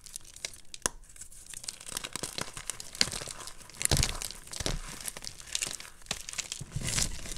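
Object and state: Gym chalk chunks being crushed.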